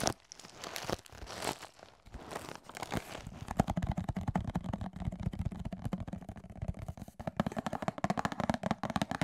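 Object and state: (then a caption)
Cardboard cereal box tapped and scratched. Fingertips and nails tap and scratch a medium cardboard Cascadian Farm Ancient Grains cereal box, held close to the microphone and apparently filled with cereal, as it is handled and shaken. The opening seconds are bright, crinkly scratching and rustling. This gives way to a dense run of quick, dry taps with a hollow low thump and a faint rattle of the contents.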